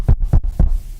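Knuckles knock on a laminated wooden surface, probably a desk, with wood beneath the lamination, done for luck. Three dull, low thuds land in quick succession, each dying away almost at once with no ring.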